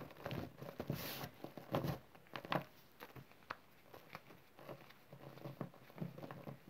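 Fingers scratch through spread-out green chalk and cornstarch powder with small clumps, pinching and crushing the small packed lumps. Soft, irregular gritty scratches and crumbly little crunches patter along, with brighter, louder crushes near the start and around the middle, easing into quieter rustling toward the end.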